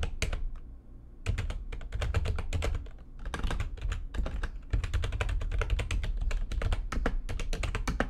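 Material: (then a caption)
Plastic. Fingertips with long nails type fast on the keys of a full-size, low-profile, backlit plastic computer keyboard resting on a desk. A dense stream of short, dry key taps and clicks with a deep low thump beneath them runs throughout, easing briefly near the one- and three-second marks before resuming.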